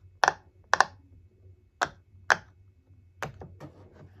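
Fingertips press and tap the hollow raised bubbles of a hand-sized rainbow heart-shaped silicone pop-it fidget toy lying flat on a wooden table, popping them. Several sharp, short pops with a hollow midrange snap ring out with pauses between them, followed by a quicker run of softer pops near the end.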